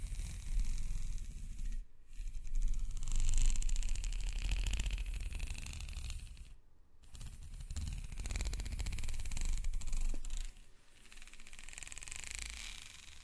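Hands and nails rub and scratch along a black, ribbed, hollow plastic corrugated hose, making a dense, rapid ratcheting scrape over a deep low rumble with a bright hiss on top. The scratching comes in long continuous strokes, broken by short pauses near 2, 6.7 and 10.7 seconds.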